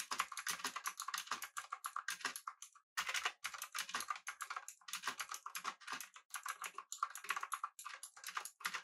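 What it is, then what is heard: Mechanical keyboard with plastic keycaps. Fingertips of both hands type on a full-size pink typewriter-style mechanical keyboard with an aluminum body and round plastic keycaps. Rapid, bright, clacky key taps come in quick bursts, with a short pause near three seconds.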